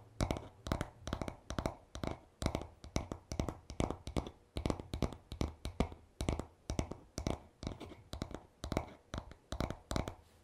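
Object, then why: Wooden back of a paddle hairbrush. Fingertips tap and short nails scratch the smooth, solid wooden back of a paddle hairbrush lying on a towel. It makes a steady run of quick, dull, low knocks with short bursts of scratching between them, and each tap dies away almost at once.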